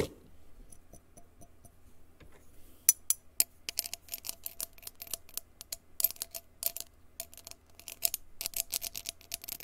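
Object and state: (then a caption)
Empty glass jar. A small, clear, empty, open glass jar with a threaded mouth is held in one hand and tapped on its side with a blue plastic stick or pen. Soft, sparse taps at first give way to a quick, irregular run of louder, bright, clicky ticks. Each tap dies away almost at once, leaving a faint glassy ring.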